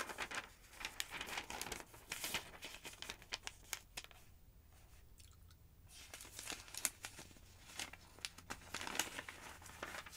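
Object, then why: Thin paper phonebook pages. Long-nailed fingers rub and flip the thin yellow pages of a thick, open paper phonebook. Bright, crisp crinkling and rustling comes in quick bursts, with a quieter pause in the middle before the page-turning resumes.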